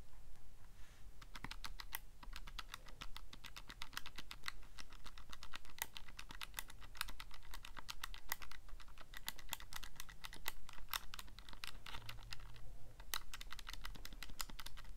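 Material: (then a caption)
Plastic. Fingertips rapidly press the plastic number keys of a handheld Casio calculator, producing a fast, steady stream of short, bright clicks with brief pauses. A constant low hum sits underneath the tapping throughout.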